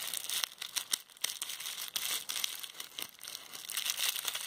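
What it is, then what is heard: Plastic bubble wrap. A small roll of clear plastic bubble wrap with hollow air bubbles is held and squeezed in hands with long red-painted nails. It makes a steady, bright crinkling and crushing with many sharp, high pops scattered through it, and almost no low end.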